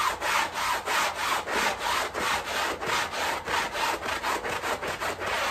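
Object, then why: Fabric rug scrubbed with a stiff bristle broom. A long-handled stiff bristle broom scrubs a small, soapy, wet fabric rug lying on tile with quick up-and-down strokes. Each stroke makes a bright, rasping, bristly swish, repeating at about three per second in a steady, slightly uneven rhythm.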